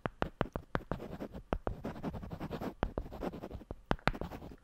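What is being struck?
Two wooden blocks.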